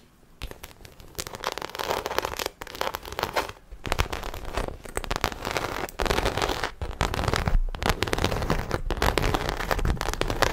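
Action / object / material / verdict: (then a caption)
scrape / textured faux leather handbag / faux leather / none. Long acrylic nails scratch the textured side panel of a small black croc-embossed faux leather shoulder bag, which is hollow, apparently empty and held in both hands. The result is a dense, crackling scratch broken into rapid bursts with brief pauses, carrying a low, hollow body beneath the brighter rasp.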